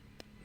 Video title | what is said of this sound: Harvest marang fruit. | Iba ang tunog ng hinog sa gulang